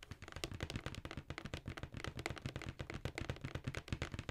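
Long nails tap and scratch the printed side of a hollow black cardboard Jordan shoe box held upright. A fast, uneven run of short, dry taps carries a low, hollow thump from the box, with a light papery scratch above it. Each tap dies away almost at once.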